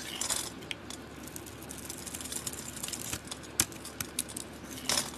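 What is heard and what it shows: A utility-knife blade scrapes shavings from the cream interior of a solid oval soap bar with a copper-colored coating. Soft, bright scraping and crackling run throughout, broken by sharp, quick ticks and a few louder scrapes that stop almost instantly.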